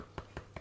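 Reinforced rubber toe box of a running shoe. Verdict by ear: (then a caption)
Stiff. Three quick, dull taps on the reinforced rubber around the toe box of a Saucony Endorphin Elite 2 running shoe, the same kind of material as in its heel. Each tap is a short, low thud that dies away almost at once, showing the toe area is stiff and quite structured.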